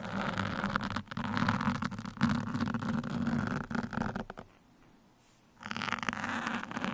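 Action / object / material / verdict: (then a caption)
scrape / foam microphone windscreen scratched with steel pins / foam / none. Fingertips of both hands scratch and poke a black foam microphone windscreen with two steel pins, making a dense, rough scratching and crackling with a muffled, rumbling low body. The scratching runs almost continuously, drops to near silence for about a second, then resumes just as busily.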